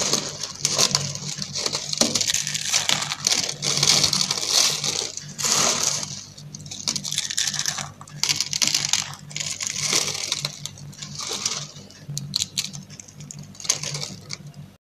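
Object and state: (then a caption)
Dry soap curls crushed. Light green dry soap curls and flakes are crushed in the hand with fingertips and long French-manicured nails over a pink surface. Dense, bright crackling and crunching come in repeated bursts with brief pauses, over a faint steady low hum.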